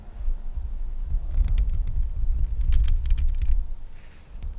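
Long nails scratch and tap the bare, hollow metal mesh grille of a microphone. A heavy, deep rumble of scraping fills the clip, with clusters of sharp, bright clicks from the taps.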